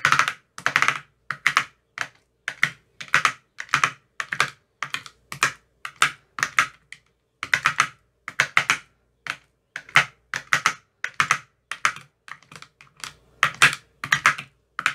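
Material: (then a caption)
Plastic, silicone. A white-tipped metal rod taps into the green silicone cells of an empty clear plastic ice cube tray. The result is a quick, uneven run of short, crisp clicks in small clusters, bright and dry with almost no low end, each dying away almost instantly.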